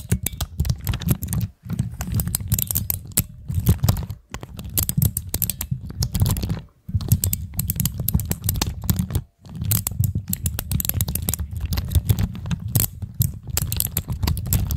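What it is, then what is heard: Plastic keycap fidget cube. Long acrylic nails click and tap continuously on the keycaps of a pastel plastic keycap fidget cube resting on a black stand. The result is a dense, rapid run of short, dry clicks with a heavy low thump under bright clacks, broken by a few brief pauses.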